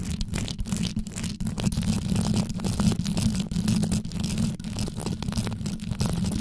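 Long yellow nail tips scratch and tap downward on the top of a black condenser microphone with a rhinestone-covered grille. The result is a fast, steady stream of deep, close-up scratching with many quick taps and a low rumbling hum, with little high content.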